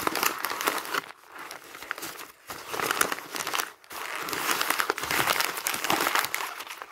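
A stack of thin printed paper magazine pages is squeezed and crumpled by fingertips and hands on top of magazines. The result is a dense, bright crinkling and crackling with no low end, broken by brief quiet pauses between bursts of handling.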